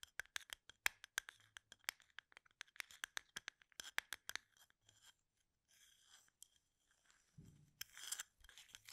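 Fingertips and nails flick and scratch the tops of wooden toothpicks packed upright in a plastic cup. A rapid run of sharp, bright, dry clicks gives way to quieter rustling scrapes, a brief low bump, and a final burst of crisp scratching.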